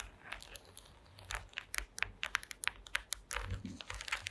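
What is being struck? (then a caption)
Woven wooden slat placemat. Long acrylic nail tips tap and scratch across a flat woven placemat made of small wooden slats. A rapid run of dry, bright clicks, each dying away almost instantly, comes over a soft rustling scratch, with the taps centered around 1.6 kHz.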